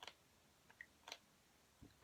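A genuine MAC plastic lipstick cap is tried on a fake MAC lipstick, giving a series of light, dry plastic clicks and ticks spread across the clip, ending in a louder, fuller knock. The cap does not fit the fake, whose plastic looks cheap, and the mismatch is audible in the clicks.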